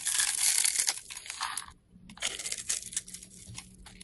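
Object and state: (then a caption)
Bar of soap being carved. A craft knife blade scrapes and carves grooves and flakes into a small solid yellow soap bar held in the hand. Bright, dry scraping and crisp crunching come in irregular strokes, with a short quiet pause near the middle before the carving resumes.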